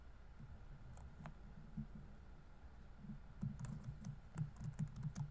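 Fingertips rapidly tap the plastic keys of a laptop keyboard set in a grey laptop body while typing. The quiet, irregular run of short, dull clicks has a low thumpy body and faint bright ticks, growing a little busier and louder toward the end.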